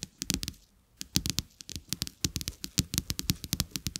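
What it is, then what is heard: Paper playing cards. Two flat, thin, solid coated-paper playing cards with a checked back, lying on a carpet, are tapped and scratched by fingertips and nails. Quick, dry, bright clicks come in a rapid, uneven patter with a low thud under each tap. A short quiet pause near the start gives way to denser, steady tapping.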